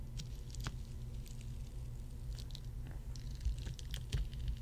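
Fingertips and long nails tap across a row of solid ice cubes set on a red mat. Scattered light, bright clicks and ticks sit over a steady low hum that fills most of the sound, with a few slightly firmer taps near the end.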